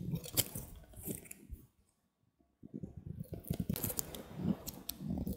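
A green-handled utility knife carves a small, handheld solid white bar of soap, its blade scraping and slicing through the soft soap. Soft, crunchy scraping fills the clip, mostly low in tone with bright flecks of sharper cuts, broken by a brief silent pause in the middle before the carving resumes.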